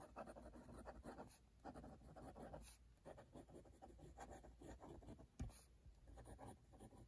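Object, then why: Metal pen nib on a paper notebook page. A metal-nib dip pen writes continuously on an open cream paper notebook page while the other hand holds the page flat. Soft, dry scratching comes in short strokes and bursts over a low steady hum, with one sharper tick about two-thirds of the way through.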